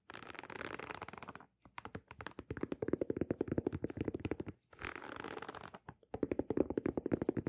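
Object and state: Leather sneaker upper.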